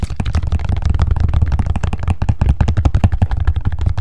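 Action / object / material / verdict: tap / knit fabric shoe with rubber sole / fabric, rubber / none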